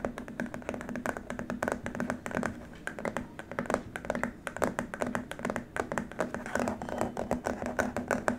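Both hands tap and rub across a long, flat white plastic keyboard wrist rest with fingertips and short nails. The result is a steady stream of quick, dry, hollow plastic taps with a faint tone near 240 Hz. Soft scratchy rubbing runs beneath them, and each tap dies away almost at once.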